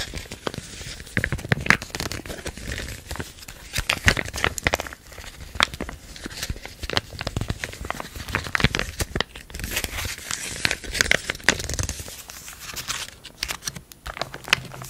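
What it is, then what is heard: Foil-laminate dressing pouch. Long painted nails scratch and tap a sealed white foil-laminate burn dressing pouch, shown front and back, while hands crinkle it. The result is a dense run of bright, papery crinkles and sharp crackling snaps, with dry scratching and quick clicky taps in between.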